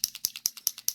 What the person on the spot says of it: little metal balls in there to um shake it up